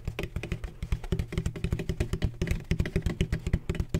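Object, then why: Textured plastic ring-shaped bottle. Fingertips tap rapidly and unevenly on a large, hollow, black, donut-shaped bottle of textured plastic with a red cap, about thirty taps in four seconds. Each tap is short and dull with a hollow, low thump around 78 Hz, little brightness, and almost no ring.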